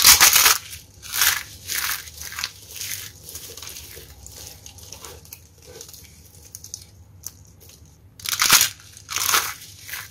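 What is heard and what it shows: Two hands with long painted nails dig into, squeeze and crush a heap of broken, brittle pink and black starch-coated soap flakes on a white surface, while the decorative soap flowers around the pile are left untouched. Dense, bright crunching and crackling comes in repeated bursts, loudest at the start, quieter and scattered through the middle, then rising again in two strong crunches near the end.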